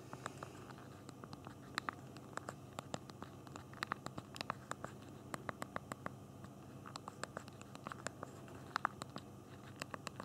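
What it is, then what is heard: Phone hardware keyboard typing. Both thumbs type on the hard plastic physical keyboard of a small BlackBerry Q10 phone. The result is rapid, uneven bursts of short, sharp key clicks with bright high-end snap over a low, steady background hum.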